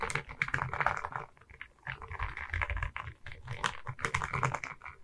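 Long red nails tap and scratch across a diamond painting on a wooden canvas, a flat rectangular board covered in small resin rhinestone beads on a wooden frame and held in both hands. Quick, dense clicks and gritty scrapes with a bright edge sit over a low thumping undertone. The taps die away almost instantly.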